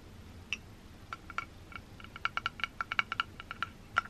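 Long green-painted nails tap and scratch the black rectangular metal body of a held 3Dio binaural microphone with white silicone ears. About twenty quick, light clicks come at an uneven pace, each with a brief metallic ping around 1.4 kHz and bright edges that stop almost at once. A faint low hiss sits underneath.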